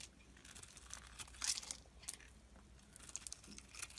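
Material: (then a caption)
Glycerin soap. A utility knife blade scrapes and shaves brittle flakes off a solid, translucent blue-purple oval glycerin soap bar held in the palm. Quiet, bright, dry crackling and crisp scraping come in short bursts, with the sharpest shaves standing out around the middle of the clip.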